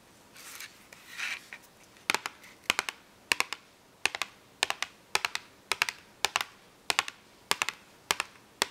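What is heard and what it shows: Long acrylic nails scratch and tap a small, full cardboard box of washable markers held upright. Soft, bright scratching swells come first, then a steady run of crisp, dry nail taps falls in quick clusters of two or three through the rest of the clip.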